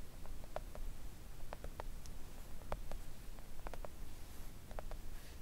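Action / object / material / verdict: tap / silicone nail art mat / silicone / none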